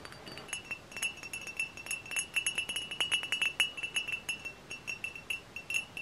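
Long fingernails tap rapidly and unevenly on the glass body of a hollow, dark glass cider bottle with a paper label. Each tap is a bright, glassy click with a ringing tone near 2.9 kHz that dies away almost at once. The taps come in a dense, irregular run throughout, with almost no low end.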